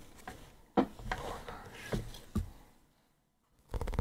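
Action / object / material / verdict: tap / paperback book with glossy paper cover / paper / none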